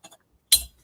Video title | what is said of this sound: The Picker Daily Hustle Morning Show Ep 749 | that sounds like glass to me